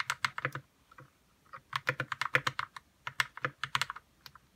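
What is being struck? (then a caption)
Mechanical keyboard with plastic keycaps. Fingertips type on a white 60% RK61 mechanical keyboard with plastic keycaps and lubed red switches. About 22 short, bright, clacky keystrokes land in quick bursts with a brief lull near the first second. Each has a soft low thock underneath and dies away almost instantly.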